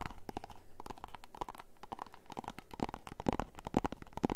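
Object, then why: Small cardboard box. A small, hollow, white and orange printed cardboard box is tapped and scratched with fingernails. The result is a quick, irregular run of dry, hollow taps and scratchy rustles, with brief low-mid thumps and a faint bright edge.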